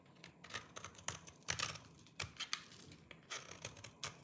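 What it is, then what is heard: Dry soap bar shaved with a knife. A small orange-handled knife scrapes and shaves the surface of a solid, dry lime-green soap bar held in the fingers, and the shavings pile up below. It makes a run of crisp, bright, crunchy scraping strokes with short, dry attacks and almost no ring, separated by brief quiet gaps.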